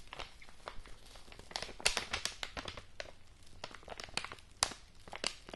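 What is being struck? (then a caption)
Kraft-paper padded envelope. A yellow kraft-paper padded envelope is held up close while fingernails scratch and tap its surface. Dry, bright crinkling and scratching run throughout, broken by sharp, quick taps that stand out above the steady rustle.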